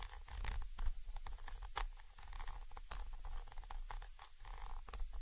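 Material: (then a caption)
Metal. A thin orange stick rapidly taps and scratches the side of a Zoom H5 XY microphone capsule, a small chrome metal body with mesh grilles. The result is a dense run of quick, dry scratching and tapping with a heavy low rumble underneath, dotted with short, sharp, bright clicks that die away almost instantly.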